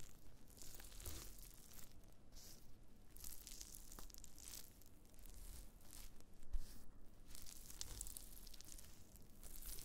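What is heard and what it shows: Black-gloved fingertips press and scratch thin, brittle, brown flakes of dried wood ear fungus on a white cutting board. A close, quiet stream of dry crinkling and crunching with soft tearing scratches continues throughout, with a slightly louder crackle just after the midpoint.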